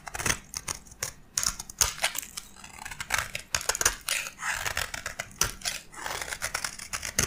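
A metal blade scrapes across the surface of a white, solid bar of dry soap held in the hand, shaving off a fine powder. A rapid series of crisp, dry, bright scraping and crunching strokes follows, each short with almost no ring and very little low end.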